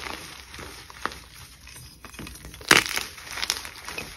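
A solid white gym chalk block, held in both hands with long pink nails, is crushed, squeezed and broken with the fingers into crumbly chunks and powder. Soft, dry, bright crunches and crackles come through, with the loudest crunch partway through as the block gives way.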